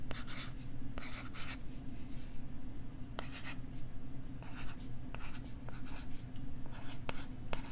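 A stylus scratches and writes across the back side of a pink plastic LCD writing tablet held beside the mic, making bursts of dry, bright scratching strokes mixed with sharp little taps. A steady low hum runs underneath the whole time.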